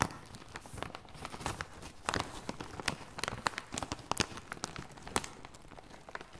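A full red MAKADO snack bag made of plastic/foil laminate is handled and squeezed with gloved fingertips. It gives off a steady run of sharp, bright crinkles over a soft rustle, with the loudest crackles standing out at irregular moments.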